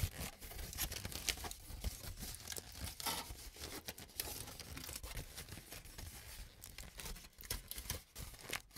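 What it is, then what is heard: Crumpled aluminum foil. A crumpled sheet of aluminum cooking foil, held in both hands, is crinkled by the fingers. The result is a continuous dense crackling, rustling and crunching with bright, sharp edges over a low rumble, and brief quieter dips between bursts.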